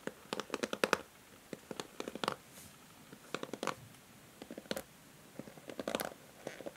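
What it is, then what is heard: Plastic hair brush, nails scratching bristles. Long nails strum and scratch across the white plastic bristles of a pink plastic paddle hair brush. The result is quick clusters of dry, clicky plucks and scratchy ticks, centered in the midrange with bright edges. Short quiet pauses separate the clusters.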